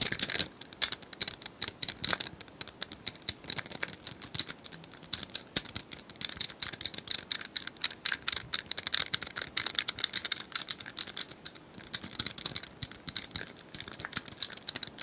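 A hand-sized, multicolored plastic cylindrical puzzle toy with square tiles is held in both hands while long nails tap the tiles and twist its sections. The result is a steady stream of rapid, crisp, bright plastic clicks and ticks with almost no low end, each dying away instantly.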